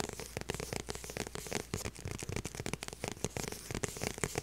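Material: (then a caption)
Faux leather. Long purple nails tap and scratch the back of a small, light blue, structured faux leather handbag held up in the air. A quick, uneven run of dry clicks and scratchy rasps follows, with bright crackling texture over a soft low thump and no ring after each touch.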